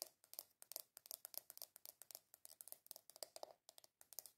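Long nails rapidly tap and scratch the lid of a small, hollow, round black plastic container with a W logo. About 28 quick, crisp clicks come in an uneven run, each bright with a hollow tone near 630 Hz and almost no ring. The level stays quiet throughout.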